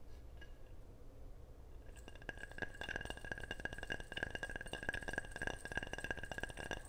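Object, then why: Ceramic object. A ceramic object is tapped repeatedly in quick, uneven succession, producing bright, short clinks that ring around 1.6 kHz and die away almost instantly. The first two seconds hold only a faint low rumble before the tapping begins and continues steadily to the end.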